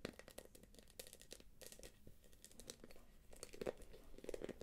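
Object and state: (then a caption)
Quilted plastic purse. Long nails scratch and tap the glossy quilted surface of a small, hollow, light-blue plastic purse with a gold clasp. The result is a quiet, dense run of crisp, crinkly scratches and taps. They are broadband and bright, with short hollow knocks near 470 Hz.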